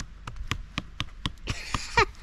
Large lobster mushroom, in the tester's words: it's heavy and hard what's it sound like when you tap it sounds like wood